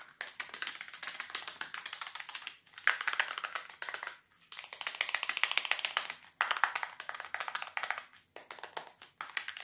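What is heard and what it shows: Long fingernails tap fast and scratch across the faces and edges of a small, hollow white plastic double box. The result is a dense stream of dry, bright clicks and scrapes with almost no low end, coming in bursts separated by brief pauses.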